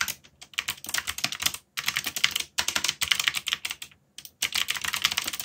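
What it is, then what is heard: Mechanical keyboard with plastic keycaps. Fingertips type on a backlit mechanical keyboard with black plastic keycaps, producing rapid, bright, clicky taps that run in dense bursts. The clatter stops briefly twice before resuming, and each keystroke dies away almost instantly.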